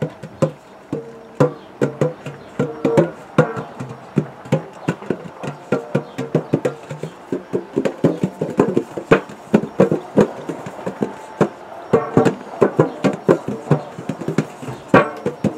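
Fingertips and fingernails of both hands tap and drum on the gold base of a large round hollow metal biscuit tin. A fast, uneven stream of short, hollow, woody-sounding knocks centres on a mid tone around 500 Hz. Each tap dies away almost at once.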